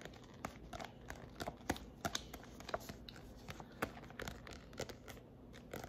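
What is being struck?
Paperback book with glossy cover.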